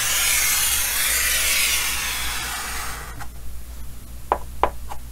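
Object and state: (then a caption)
Chalk drawing on a chalkboard. White chalk is drawn by hand across a large, solid painted chalkboard in a green wooden frame, sketching a big circle and details. A steady, bright, hissing rub of chalk on the board fills the first three seconds, then fades to quieter strokes with a few short, sharp scratches near the end, over a faint low hum.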